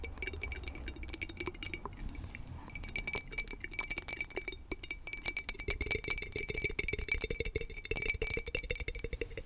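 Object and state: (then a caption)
Cut crystal glass tumbler. A small, hollow and empty cut crystal whiskey tumbler with a star-cut pattern is held close to the mic and tapped and scratched with long nails. Rapid, crisp clicks and bright glassy chinks ring briefly over a soft scratchy rustle, continuing steadily throughout.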